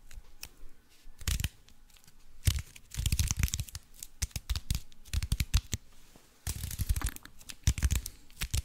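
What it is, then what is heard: Aluminium foil wrapped block. Fingertips and nails scratch and crinkle the aluminium foil wrapping a foil-covered cube. Bursts of sharp, bright crackling and dry rustling come in uneven clusters, each carrying a soft low thump, with brief quieter pauses between them.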